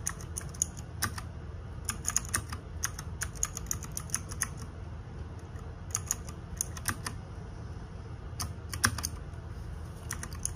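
Fingertips and nails type on the plastic keycaps of a small RGB-backlit 60% mechanical keyboard. Sharp, bright clicks come in quick bursts over a steady low hum, with a brief lull around the middle before the typing resumes.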